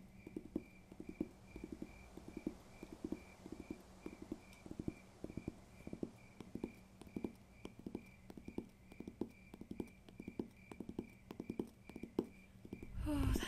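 Fingers tap on a paper textbook in quick, soft, dry bursts, each hit short and muffled with little ring. A faint steady high tone hums underneath, and a brief rustle closes the clip.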